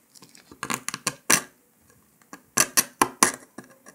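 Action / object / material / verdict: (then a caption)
scrape / brittle sugar candy disc scraped with a metal needle / sugar candy / none. A metal needle scratches and picks along the cut line of a brittle brown dalgona honeycomb sugar candy disc resting on paper. It makes a series of sharp, bright, crisp ticks and scrapes in two clusters, each dying away almost instantly, with quiet gaps between.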